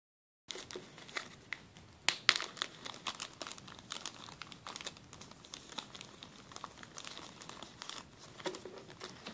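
Fingertips crinkle and rub a clear, thin, empty plastic zip-lock bag with blue and green zipper stripes as it rests on a table. After a brief silence, a steady stream of bright, dry crinkles and crackles follows, with a louder burst of sharp crackling near the two-second mark. The rest continues at a softer, even level with almost no low end.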